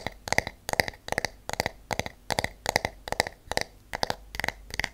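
Long acrylic nails and natural nails tap the wooden back and handle of a wooden hairbrush with wooden pins. The result is a steady rhythm of quick, dry clicks in small double and triple bursts. Each tap is bright and woody with a clear tone near 2 kHz and almost no ring.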